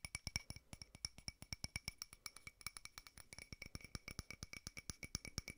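A small frosted glass votive holder with a white candle inside is tapped quickly with fingertips and nails on its side and rim. About 44 quick, dry taps sound in a steady rapid stream. Each has a bright, glassy ping near 2.3 kHz and higher, with a soft low thump underneath, and dies away almost at once.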